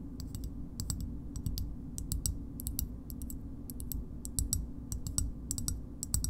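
A green, hollow plastic bottle opener about 15 cm long is tapped on its concave back with long nails. Quick, bright, dry clicks come in small bursts over a steady low rumble, each click dying away almost at once.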